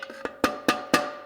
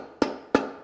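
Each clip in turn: First: clutch piston fully seated in transmission case. Second: transmission clutch piston not yet fully seated.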